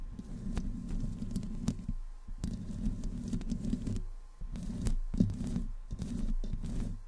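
Long nails of both hands slowly scratch the hollow metal mesh grille of a black desktop microphone. The result is a close, muffled, low-pitched rumbling scrape that comes in bursts separated by brief pauses, with a faint steady tone running underneath.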